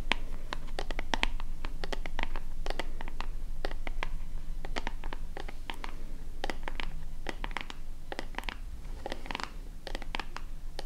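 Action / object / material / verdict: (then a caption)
scrape / plastic lotion pump bottle / plastic / none. Long nails scratch and tap a small, hollow white plastic lotion bottle with a purple pump top, held upright in both hands. The result is a quick, uneven stream of short, bright clicks and scratches over a steady low hum, with no talking.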